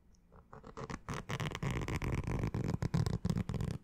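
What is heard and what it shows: Fingernails scratch the fabric crown of a green structured snapback baseball cap with a stiff brim. About fourteen quick, dry scratching strokes build from quiet to louder, each a short rasp with a dull, low-heavy texture and no ring after it.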